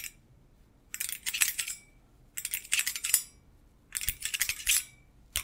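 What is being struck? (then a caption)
Stainless-steel wire basket. Metal-thimbled fingertips tap and scratch the wire bars of a hollow stainless-steel wire basket while it is held and tilted. Three bursts of bright, rapid metallic clicking and scraping, each lasting about a second and a half, are separated by near silence. The clicks are short and dry, with almost no ring.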